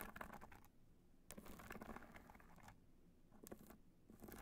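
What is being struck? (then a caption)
Hard-shell evening clutch studded with rhinestones. Long pointed nails tap and scratch the top of a small, hollow black hard-shell evening clutch studded with multicolor rhinestones, lying on white fur. Quick clicky taps and bright, gritty scratching come in bursts, separated by short quieter gaps.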